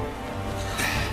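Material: Nothing is struck.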